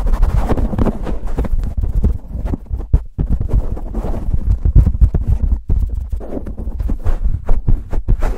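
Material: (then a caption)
Foam. Fingertips on both hands aggressively scratch and rub a black foam windscreen on a silver condenser microphone. The result is a dense, continuous stream of muffled, boomy thumps and crackling scrapes, almost entirely low in pitch, with brief dips between bursts.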